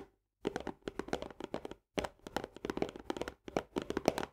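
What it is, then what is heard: Paperboard canister with plastic lid. Long nails of both hands tap and scratch fast on the upper wall of a medium paperboard Orzo Bimbo barley canister, near its green plastic lid. Dry, hollow, mid-pitched clicks and scrapes come in quick flurries separated by brief pauses. Each click dies away almost instantly.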